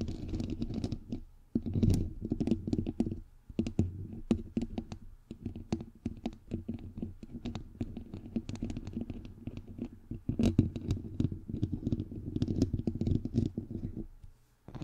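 Fingernails from both hands tap and scratch quickly on a bare, hollow microphone head with a white perforated metal mesh grille. Dense, rapid clicks and scratchy rustles run throughout, with a heavy low thump under each tap and brief bright ticks above.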